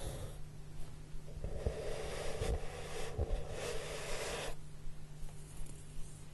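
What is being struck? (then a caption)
Corrugated cardboard box. Both hands rub the surface of a large, flat, brown corrugated cardboard box, which is hollow, using fingertips and short nails. A soft, breathy rubbing hiss swells in the middle of the clip, with faint low thumps from the hollow box, over a steady low hum.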